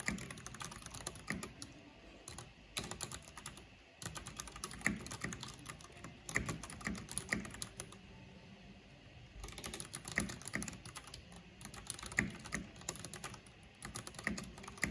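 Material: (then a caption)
Plastic. Long painted nails and fingertips of both hands type fast on a full-size black plastic mechanical keyboard with purple backlight, pressing hollow plastic keycaps on their switches. Dense, bright clicking and clacking runs throughout, with short, sharp key strikes over a low thock. The typing briefly eases into a quieter stretch around the middle before picking back up.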